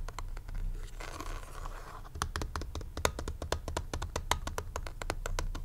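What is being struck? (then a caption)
Plastic graphing calculator back. Short fingernails scratch the textured back of a hollow black plastic graphing calculator held in the hand. After a few light clicks, a soft rasping scrape runs for about a second, then gives way to a quick, steady run of sharp, dry ticks and taps over a low steady hum.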